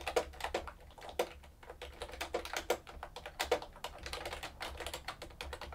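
Both hands type continuously on a plastic keyboard with round plastic keycaps, producing a rapid, uneven stream of short, dry clicks and taps with a midrange body around 500 Hz and bright edges. Some keystrokes land harder than others, and a faint steady low hum sits underneath.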